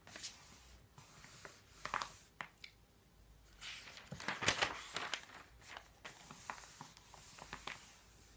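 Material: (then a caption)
Paper. Palms and fingertips repeatedly rub and smooth across the thin paper pages of an open, thick paper phone book. Soft, bright papery swishes and light crinkles rise and fade in quick, dry strokes with almost no low end. The level stays quiet throughout, with a busier cluster of rustling in the middle.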